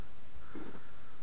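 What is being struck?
Nothing is struck.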